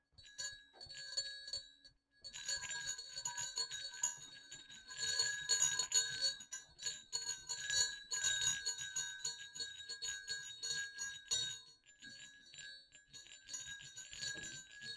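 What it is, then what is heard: Metal jingle bells. Two small hollow silver metal jingle bells on a cord are swung and clicked together, making rapid, irregular bright jingles and dings. The tinkling is high and short-ringing, with a brief silence near two seconds and a softer stretch toward the end.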